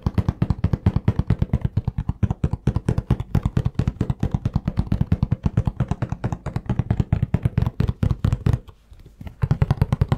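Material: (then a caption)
Cardboard. Fingertips rapidly tap a hollow cardboard tissue box with tissues inside, producing a quick, uneven stream of short, dull, low thuds with almost no ring. The tapping runs steadily, breaks off briefly near the end, then resumes.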